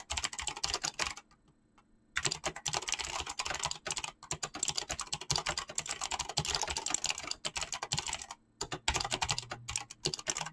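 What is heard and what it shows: Fingertips type fast on a mechanical keyboard with clicky switches and PBT plastic keycaps, producing a dense run of bright, sharp clicks with a low thump under each keystroke. The typing stops briefly near the start and again near the end, then resumes at the same quick pace.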